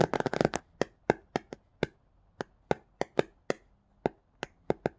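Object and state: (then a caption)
Paperback picture book cover. Bare fingertips with short nails tap and scratch across the illustrated paper/card cover of a paperback children's picture book with cat and plants artwork, lying flat with its pages solid beneath. A quick, busy cluster of scratchy taps opens the clip, followed by fourteen separate short, dry taps with bright clicky edges and almost no ring.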